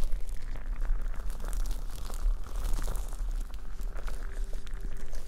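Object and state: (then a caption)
Plastic liquid timer tapped and scratched. Long painted nails tap and scratch the sides of a hand-sized, clear plastic hourglass-shaped liquid timer, sealed and filled with coloured liquid and held upright. The result is a steady, dense stream of crisp, crinkly clicks and scraping, bright and close, with a low rumble underneath throughout.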